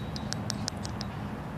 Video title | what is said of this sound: Petrified log & 1k yr old tree 🌳 in my backyard | if you can hear that sounds like metal